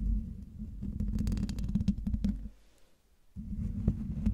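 Long dark-painted nails scratch the hollow metal mesh grille of a silver Blue Yeti microphone, producing a dense, low rumbling rasp with sharp bright clicks scattered through it. The scratching drops to near silence around the midpoint, then resumes with the same deep, gritty texture until the end.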